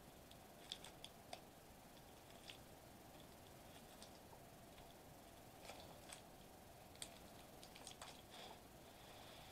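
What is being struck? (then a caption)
Metallized plastic bubble wrap sheet. Fingertips press and squish the bubbles of a flat silver metallized plastic bubble wrap sheet lying on a white table. Quiet, soft crinkling squishes are broken by short, sharp, bright clicks and pops spaced irregularly through the clip, over a steady low hiss.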